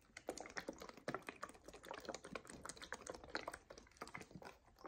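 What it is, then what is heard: Paperboard drink carton tapped with nails. Long nails tap rapidly on the faces of a paperboard coconut water carton held in both hands. The result is a quiet stream of quick, dry, clicky taps with a mid-range hollow tone and no ring.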